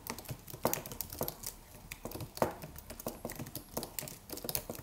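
Fingertips of both hands type rapid taps on a slim white Apple-style wireless keyboard with an aluminium body and white plastic keys. The result is a quiet, irregular stream of short, dry clicks with bright ticking edges, each dying away almost instantly, with a few louder keystrokes standing out.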